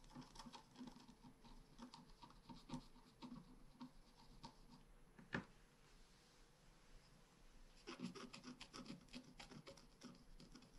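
A wooden stylus scratches a blossom branch into the top of a flat, black-coated scratch art paper card held flat by the other hand. Quick, dry, raspy scratching strokes come in bursts, broken by a single sharper tap and a quieter stretch. The scratching then picks up again, dense and bright.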